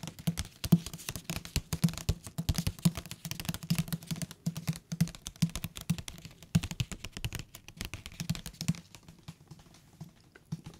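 Fingertips tap rapidly on the spine and cover of a thick hardcover paper book held upright. The result is a dense patter of short, dry, low thuds with a soft hollow tone, and a light papery click on top. The tapping thins out toward the end.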